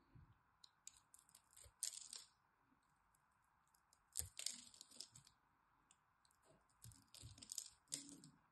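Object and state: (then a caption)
Dry bar soap. A blade cuts into a solid green dry bar of soap with a crosshatch-scored face and scrapes across it, so small cubes crumble off. Bursts of dry, bright crunching and crackling come in irregular clusters, with short scraping passes and brief quiet gaps in between. Each crunch stops almost instantly, with no ringing.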